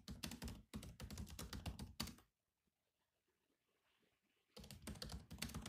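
Rapid fingertip typing on the black plastic keys of a grey laptop keyboard gives dense bursts of clicky, low-weighted taps. The typing stops for about two seconds of near silence, then resumes just as fast.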